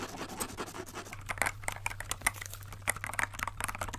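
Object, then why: Plastic mechanical keyboard. Gloved fingertips press and tap the clear keycaps of a compact transparent plastic mechanical keyboard held upright. Quick, irregular clicks and light taps with bright plastic edges sit over a steady low hum, with each tap dying away almost instantly.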